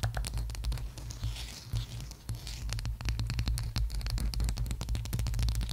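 Long acrylic nails tap and scratch the top of a round, flat, palm-sized bamboo or wooden candle jar lid with an engraved logo and a dark rim, held on top of a furry mic cover. Quick, irregular dry clicks and scrapes come about three per second, each dying out at once, over a deep, muffled low thump. A brief soft, hissy brushing rises in the high range early on.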